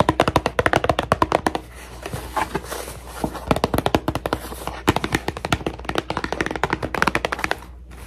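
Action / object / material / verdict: tap / cardboard tissue box / cardboard / none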